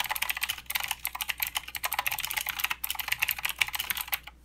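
A plastic mechanical keyboard with clicky blue switches and plastic keycaps is typed on continuously by the fingertips of both hands. Rapid, bright, crisp clicks overlap in a steady stream with very short decay, pausing briefly twice before the typing stops near the end.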